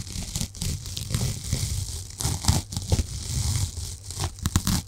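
A small, solid, light-yellow foam sponge block, held in both hands close to a microphone, is scratched and squeezed with long painted nails. The result is a steady run of close, crackly scratching and crinkling bursts with a bright, hissy top and a heavy low rumble underneath.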